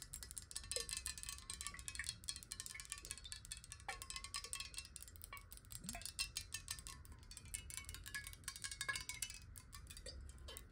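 Long nails tap fast on a clear glass water bottle, hollow and partly filled with water, held on its side. The result is a quiet, continuous stream of bright, chime-like ticks with very short ring, over a faint low rumble.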